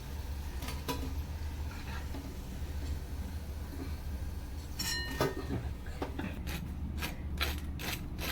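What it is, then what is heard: Crisp, well-fried soya chunk pakora. Golden fried soya chunk pakoras are broken and pressed, giving a series of short, dry, bright crackles and snaps over a steady low hum. The crisp sound shows the pakoras are well fried and crunchy.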